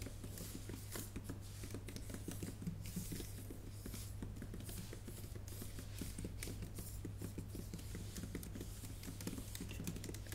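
Long painted nails and fingertips type on the plastic keys of a MacBook Pro keyboard set in an aluminum body. A steady stream of quick, soft clicks and taps runs throughout, each dying away almost at once over a constant low hum.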